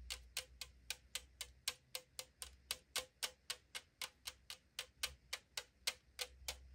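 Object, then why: Aluminum drink can. Long acrylic nails tap the side wall of a tall 500 ml aluminum drink can lying on a table, giving 25 short, bright clicks with a hollow, thin-metal tone. The taps come quickly, about four per second, in a loose rhythm, and each dies away almost at once over a faint low hum.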